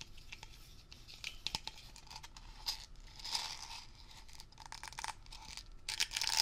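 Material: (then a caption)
Plastic, metal. A mid-sized hollow metal Blue Coral Dri-Clean aerosol spray can, of unknown fill level, with a ridged blue plastic scrub cap is held in both hands and rapidly tapped and scratched with fingertips and short nails, mostly on the plastic cap. The result is a quiet, bright, dry stream of crinkly clicks and scratchy rasps with occasional sharper taps, each dying away almost instantly.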